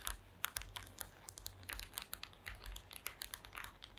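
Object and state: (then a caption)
Woven wooden placemat. Long acrylic nails scratch and tap across the small wooden slats of a flat woven wooden placemat. The result is a rapid series of short, dry, bright clicks and scratchy ticks over a faint low rumble.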